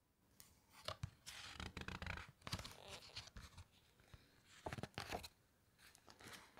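A flat hand and long nails press and rub the glossy photo pages of a large open hardcover book, making soft, bright crinkling and scratchy swishes with low thumps in between. A few sharper crackling bursts stand out before one page is turned with a papery rustle.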